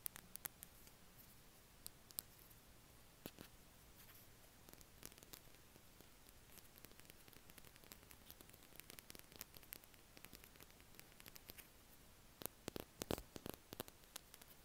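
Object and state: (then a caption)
Plastic highlighter pen. A small, hollow green Stabilo Boss plastic highlighter is held in the hands and tapped and scratched with the fingertips and nails. Dozens of quiet, sharp clicks and light scratches come in irregular bursts over a soft, steady hiss. The taps are dry and die away almost instantly, with denser clusters near the end.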